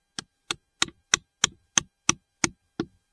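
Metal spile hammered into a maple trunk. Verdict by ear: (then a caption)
Tight. A spile (maple tap) is tapped with nine sharp, evenly spaced knocks into a freshly drilled hole in a maple tree trunk. Each hit is a short, bright, dry tap with almost no ring, and the last blow lands with a duller, lower thud that shows the spile is seated firmly.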